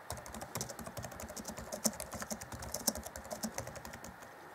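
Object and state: Plastic laptop keyboard being typed on.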